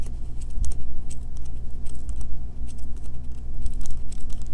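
Medium painted nails tap and scratch fast on a solid, palm-sized, pale green, unwrapped bar of Castile soap, first as it rests on a table and then while it is held in the hand, leaving soap shavings on the table. Rapid, short, bright clicks and scratches ride over a steady low hum.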